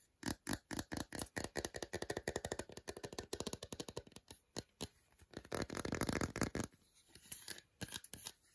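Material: Chocolate.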